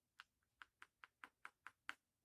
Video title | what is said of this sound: Sticky UV resin problems/ Why I switched! | that sounds hard just like this one did